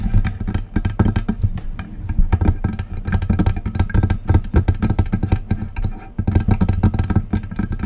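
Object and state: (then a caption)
Metal USB microphone being tapped and scratched. Long press-on acrylic nails tap and scratch the lower body and base of a silver metal desktop USB microphone, a Blue Yeti-style mic with a hollow body on a stand. The result is a dense, fast stream of short taps and scratches with deep, boomy low thumps around 78 Hz, bright clicky edges on each tap, and almost no ring after each hit.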